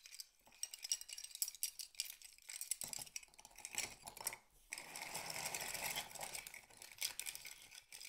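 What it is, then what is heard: Empty mussel shells. A handful of small, hollow, empty mussel shell halves is held in cupped hands and shaken and rubbed together over a pile of the same shells. This produces quiet, bright clicks and clinks that die away almost instantly. A brief pause comes just before the five-second mark, then the shells settle into a denser, steady, high-pitched rattle to the end.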